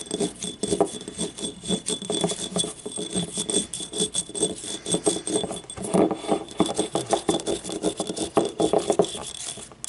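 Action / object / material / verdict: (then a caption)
scrape / small ribbed ceramic cup / ceramic / none. Long nails scratch and tap across the ribbed wall and labeled base of a small, hollow, yellow ribbed ceramic paint cup held on its side. The result is a dense run of quick, dry clicks and scrapes with a hollow midrange body and a faint, bright, steady ring above.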